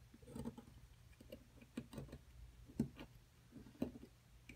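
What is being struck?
Plaster block struck with a metal chisel.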